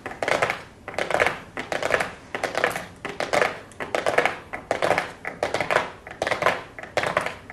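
Long blue acrylic nails tap and scratch a small, flat, hollow cardboard makeup box covered in gold foil and labelled "golden". Quick bursts of crisp, papery clicking and scratchy rustling repeat roughly every second with short pauses between them. The sound is bright, dry and light, with almost no low end.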